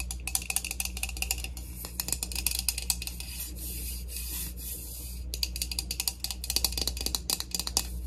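A plastic heat protectant mist spray bottle is tapped and rubbed in quick, irregular bursts of crisp, bright clicks and scratchy rubbing. A steady low hum runs underneath throughout.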